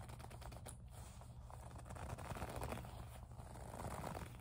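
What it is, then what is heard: Faux leather pouch being rubbed. Long nails grip and rub the surface of a small, hollow pink faux leather zip pouch. The result is a quiet, uneven run of soft scratchy rubbing and creaking, heavy in low frequencies, with faint crackles and no clear separate hits.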